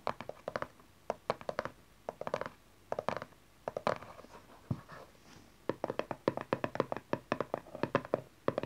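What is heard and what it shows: Long nails tap the side panel of a small dark cardboard tarot card deck box, then fingertips and nails tap its cover. Crisp, dry, hollow clicks come in quick clustered bursts around a mid tone, with a softer scratchy lull partway through before the faster tapping returns. Each tap dies away almost at once.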